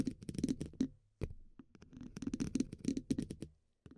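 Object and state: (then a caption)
Metal microphone grille. The hollow steel mesh grille of a dynamic microphone is scratched and tapped with the tips of two wooden pencils. Quick, dry clicks and scratchy rasps come in dense bursts with a low, hollow resonance underneath. There are short silent gaps between the bursts.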